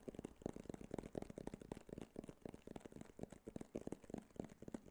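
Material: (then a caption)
Cardboard. Fingernails tap and scratch on a small, hollow, rigid white cardboard iPhone box held in the hand. The result is a quiet, rapid, irregular stream of short, dull, hollow taps with a muffled mid-range tone and almost no high end. Each tap dies away instantly, with faint scratchy rustling between them.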